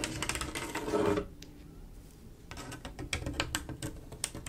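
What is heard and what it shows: Long acrylic nails scratch along the rows of a mirror-glass mosaic tile picture, a flat panel of silver mirror-glass tiles set in grout, producing a dense, bright rasping for about a second. After a brief quiet stretch, quick, sharp clicking taps follow across the tiles, crisp with a short ring.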